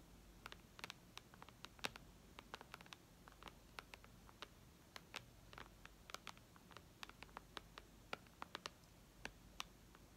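Long red nails tap rapidly on the glass touchscreen of a white iPad lying flat. The result is a quiet, irregular stream of sharp, bright clicks, each dying away almost instantly over a faint low hum.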